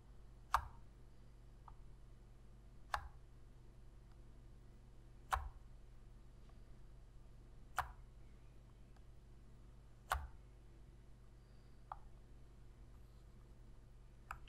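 Long fingernails tap and press the buttons of a black PlayStation controller made of hollow plastic. Sharp, brief clicks with a bright edge come every couple of seconds at an uneven pace and die away almost at once. A steady low hum sits underneath.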